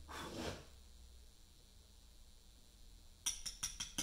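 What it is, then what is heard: Portland limestone slab under chisel strikes. A chisel struck with a mallet cuts letters into the top face of a solid pale Portland limestone memorial slab. A soft, broad scraping rush opens the clip and fades into a quiet stretch. Five sharp, bright, short-ringing taps then come in quick succession near the end.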